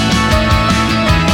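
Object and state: Nothing is struck.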